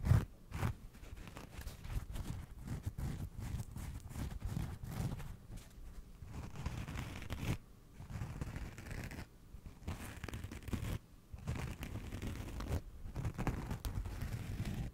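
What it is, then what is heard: Scouring sponge. Fingernails scratch the green abrasive scrub pad of a rectangular kitchen sponge with a yellow foam side, making rough, dense scraping strokes. The strokes come in bursts separated by brief pauses. The sound is dry and low-weighted, with little ring.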